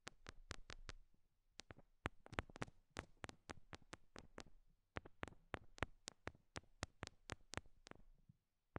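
Long nails tap the small, solid pink rhinestone heart stickers stuck on the silicone ears of a binaural microphone. About thirty quiet, sharp, bright clicks come in quick uneven bursts separated by short pauses. Each tap dies out almost instantly.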